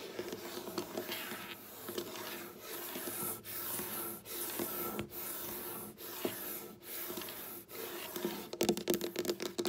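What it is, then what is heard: Wooden tabletop scratched and tapped with fingernails. Long black-polished nails, using both hands, scratch and tap across a large, solid, flat dark wooden tabletop. Steady bright scratching strokes rise and fall in waves with short pauses between them. They give way near the end to a quick flurry of clicky nail taps.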